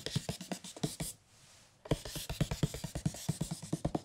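Fingertips and a palm tap and rub on the printed cardboard cover of a large hardcover picture book, Le Petit Prince, which has a red spine. The result is a quick series of 23 short, dull, low thuds centered around 150 Hz, with a brief quiet gap partway through.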